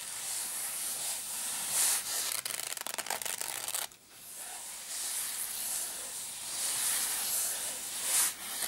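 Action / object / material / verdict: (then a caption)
scrape / padded nylon zip case / nylon fabric / none. Fingertips and nails rub and scratch the fabric top of a small black padded nylon zip case, making a steady, bright, hissy scraping. Midway a burst of rapid, choppy scratches breaks the texture, then drops out briefly before the smooth rubbing resumes, swelling and fading.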